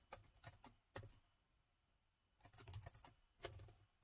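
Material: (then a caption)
Plastic. Fingertips tap on the plastic keys of a laptop keyboard with a gold metal body. The result is bursts of quick, crisp clicks with a soft low thud. The bursts are broken by a quiet pause in the middle and start again after it.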